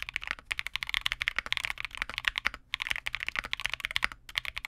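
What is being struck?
Plastic mechanical keyboard.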